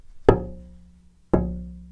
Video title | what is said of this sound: Making of DIY Classical Guitar #2 Episode 1 (自作クラシックギター製作２本目 エピソード１) | it sounds like metal a bit